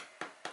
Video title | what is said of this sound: EASY Homemade French Bread! (Pinterest Recipe!) | they always tap it and if it sounds hollow then they go i'm happy with that